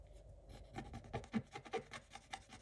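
A wooden stick tip scratches away the remaining black coating on a scratch-art paper page with a pink picture showing through. Quiet, dry, rasping scratches come in quick, uneven strokes, with a few louder scrapes that stop short without any ring.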